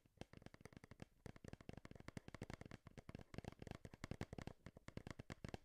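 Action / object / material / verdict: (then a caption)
tap / printed cardboard box / cardboard / none. Long nails tap quickly on a hand-sized, hollow, printed cardboard retail Game Boy box held beside the microphone. The result is a dense run of short, dry, hollow clicks with a low body and almost no ring.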